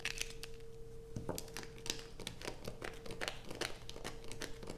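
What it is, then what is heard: Bar soap scratched with nails. A solid blue bar of soap, held over a pile of shavings, is scratched with long nails, producing a rapid series of dry, crinkly scratches with bright, crisp edges. A steady low tonal hum runs underneath for most of the clip.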